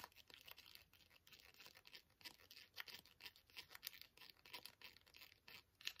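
A small, flat, sealed green ASDA antiseptic wipe foil sachet, still full, is held up and tapped with fingernails. The result is a quiet, rapid run of short, bright, crinkly taps and scratches with almost no low end and no lingering ring.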